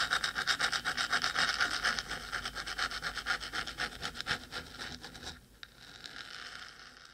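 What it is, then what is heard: Fingernails scratching a metal microphone body. Long stiletto acrylic nails on both hands scratch fast across the top of the hollow, black metal cylindrical body of a 3Dio binaural microphone. The result is a rapid, steady rasping at about four strokes per second, bright and hissy with a metallic tone near 1.4 kHz. The scratching fades after about five seconds, leaving a quiet stretch with one small tick.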